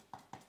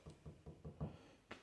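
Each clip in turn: First: non-resonant diffusor panel. Second: table tapped as a reference, little resonance.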